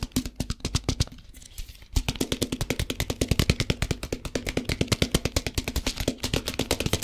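A plastic tub filled with rice is held in both hands close to the mic while its sides and lid are tapped quickly with fingertips and nails. About 55 crisp, short taps with low thuds and bright clicky tops come in a rapid, steady stream, dipping softer briefly before picking up again.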